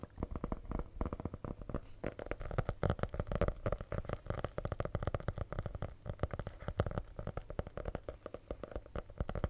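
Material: Faux leather over board.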